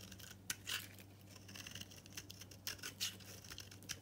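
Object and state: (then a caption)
Dry bar soap, scraped with a knife. A utility knife scrapes and cuts a solid, oval, green bar of dry soap held in the hand, shaving off powdery crumbs. The sound is quiet, bright, crisp scraping with sharp crackling bursts, over a faint, steady low hum.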